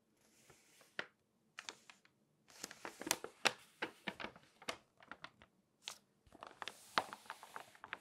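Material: Paper.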